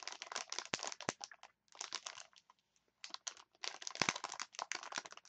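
A clear plastic package of wooden chopsticks is crinkled and scratched with long nails, making dense bursts of bright, crackly rustling with fast ticking scratches. The sound comes in clusters separated by two brief quiet pauses, with a few sharper clicks standing out.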